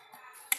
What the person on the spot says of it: nghe cho một cái tiếng kêu nó rất là đục, nó bịch bịch đục như kiểu chúng ta gõ vào nhựa